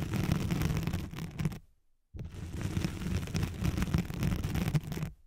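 Long nails scratch the hooks of a thin white hook-side nylon hook-and-loop sheet laid over a microphone. The result is dense, rough, crackling scratching with a heavy low rumble: a burst of about one and a half seconds, a brief silence, then a longer stretch of scratching before it stops.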